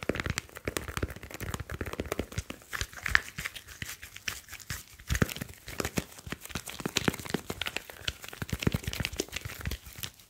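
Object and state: Smartphone, tapped and rubbed.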